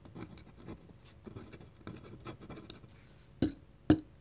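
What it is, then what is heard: Paper drawing sheet. A black dip pen's metal nib scratches small looping ink strokes across a flat white paper drawing sheet, making soft, dry, irregular scratching strokes. Near the end come two sharper, louder taps with brief bright clicks.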